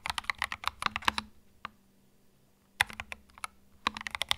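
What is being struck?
Plastic mechanical keyboard.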